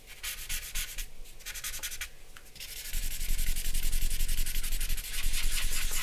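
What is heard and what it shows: A grey paper blending stump is rubbed back and forth over charcoal shading on a large drawing paper sheet, which rests on a black board on a wooden desk. Quick, dry, papery scratching strokes with a bright hiss start soft and uneven with brief pauses, then grow louder and denser after about three seconds into steady rubbing.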